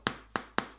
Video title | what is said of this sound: Voici Comment Faire Des Baguettes de Pain Croustillante Hum Miam Miam !!! | écoutez ça ça semble bien croustillante